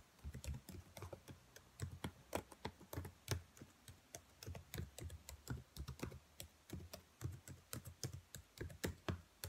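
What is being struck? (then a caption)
Plastic laptop keyboard keys. Long white nails tap and type across the rows of black plastic laptop keys, producing a steady, irregular stream of quick, crisp clicks. Each click is short and dry with a soft low thud underneath and a faint bright tick on top.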